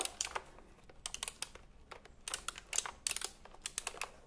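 Fingertips type on the round plastic keycaps of a retro typewriter-style computer keyboard held diagonally. The result is a quick, irregular run of sharp, bright clicks in bursts, each dying out almost instantly, with little low end.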